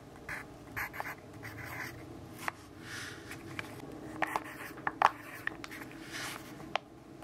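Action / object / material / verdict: scrape / graphite pencil on paper notebook page / paper / none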